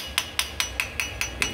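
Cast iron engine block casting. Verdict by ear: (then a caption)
Dull. Seven evenly spaced taps on the cast iron casting of an engine block, next to a welded steel patch, each giving a short, bright click with a ring near 2.9 kHz that fades in about a tenth of a second. The cast iron sounds duller than the steel, as expected, with a cast iron line running behind the casting where the water jacket must stay sealed.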